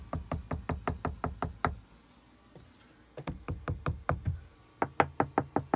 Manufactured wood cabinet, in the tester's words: rap on some of this wood so you can hear how solid the stuff is